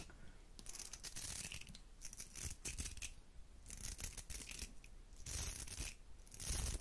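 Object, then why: Round hair brush with metal barrel and bristles. Long nails scratch and strum the bristles of a round hair brush with a metal barrel, producing bursts of bright, crackly scraping. Low thumping underneath accompanies the strokes, which come in repeated swells of rustle rather than separate hits.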